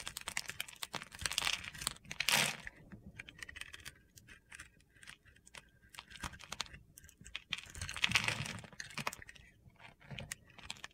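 A small solid white bar of soap with a blue glitter coating is held in the hand and shaved and scored with a utility knife blade. Dense, crunchy, gritty scraping and crackling fills the clip, with louder carving bursts near the start and again around eight seconds, separated by quieter scratchy stretches.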